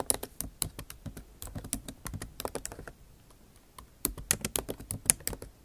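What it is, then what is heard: Laptop keyboard with plastic keys. Long nail tips type rapidly on a backlit MacBook Pro keyboard with plastic keycaps set in an aluminum body. The result is a stream of sharp, bright clicks and taps that stops briefly in the middle, then resumes.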